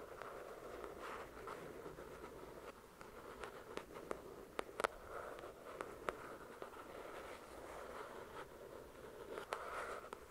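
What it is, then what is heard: Paperback book. Long nails slowly tap and scratch the glossy card cover of a paperback copy of the novel "The Shack," which has solid paper pages. A soft, steady scratching hiss fills the mid range throughout, broken by scattered sharp, dry taps that die away almost instantly. The whole sound stays quiet.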